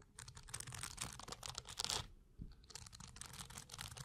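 Fingertips scratch and strum the tops of a dense block of blue plastic bristles. This makes rapid, bright, crackling clicks with a louder rasping burst near the middle. A brief lull follows before the scratching resumes.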